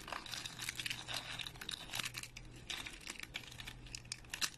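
Thin, flat, dry speckled soap flakes are broken into small pieces between fingers and thumbs close up. A dense run of bright, dry snaps and crunchy crinkling follows with no ring after each break, over a faint steady low hum.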